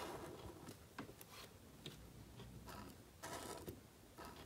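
A calligraphy marker nib writes on a thin, solid, flat sheet of black cardstock resting on a table. It makes soft, dry scratching strokes, with short brighter bursts of hiss as the nib drags across the surface. Quieter gaps fall between the strokes.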